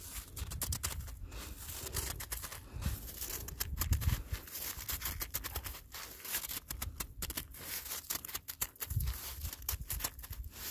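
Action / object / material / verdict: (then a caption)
scrape / icy granular snow / ice / none. A black-gloved hand scrapes and digs into icy, granular snow on the ground that has turned to ice, grabbing crunchy chunks. Dense, sharp crackles and crunches run throughout over a low, rumbling handling noise, with brief louder surges as chunks are grabbed.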